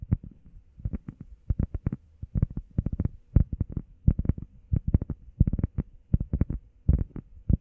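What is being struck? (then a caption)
EVA foam pad. Long painted nails and fingertips tap quickly on a flat, solid, grey textured EVA foam workout pad shaped like a heart, about the size of a hand. The taps land in rapid, uneven bursts of dull, muffled thuds, almost all low in pitch. Each tap dies away at once with no ring.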